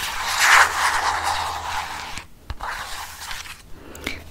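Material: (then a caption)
Plastic. A hollow white soft plastic Dove cosmetic tube with a blue cap is held in the hands and scratched along its body with fingernails close to the microphone. A dense, bright scratching fills the first two seconds, then gives way to quieter, sparser scrapes broken by a few sharp ticks.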